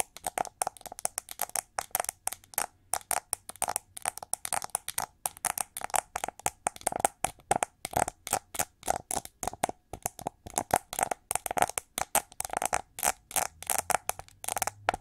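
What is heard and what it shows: Long nails scratch and tap rapidly along the ridged, shiny back of a hollow gold-metallized plastic hair brush with sculpted wing ridges and red plastic bristles underneath, held in the hand. Dozens of short, sharp, dry clicks and scrapes come in quick bursts, with a faint hollow tone near 790 Hz and bright, crisp edges that die away almost instantly.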